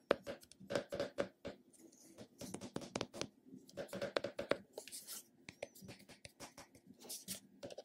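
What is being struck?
Small round plastic container with a ridged lid.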